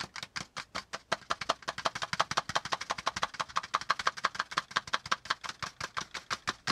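Both hands tap and lightly scratch a flat brown kraft cardboard folder lying on a notebook with short-nailed fingertips. About 41 quick, dry, hollow clicks come in a fast, uneven rhythm, each with a papery scratch that reaches into bright highs. Each click dies away almost at once.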